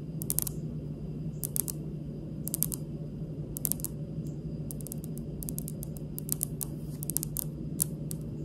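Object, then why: Granite countertop. Long pink nails on both hands tap and scratch a large, solid, speckled granite kitchen countertop. Quick clusters of sharp, bright clicks with almost no ring are heard over a steady low hum.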